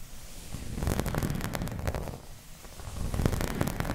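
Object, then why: Thin embossed plastic placemat. Long red nails scratch and tap a round, dark green, embossed plastic placemat that is thin and flat. The result is a dense, rumbly scraping texture, mostly low in pitch, broken by short, bright ticks and taps. It rises and dips in loudness over four seconds.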